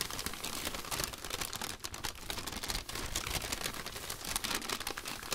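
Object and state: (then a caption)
Paper popcorn bag. An empty striped popcorn bag of thin paper is flicked open and crinkled by white cotton-gloved hands. A dense, continuous crackle of crumpling paper with bright, rustling texture runs steadily throughout, with quick snaps that stop almost instantly.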